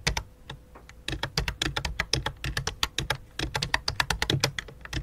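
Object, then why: Plastic computer keyboard. Both hands type rapidly with fingertips and long dark nails on a full-size white and light-blue plastic computer keyboard resting on black cloth. A fast, uneven stream of sharp, bright clicking key taps is heard, each tap dying away almost instantly over a soft low thud.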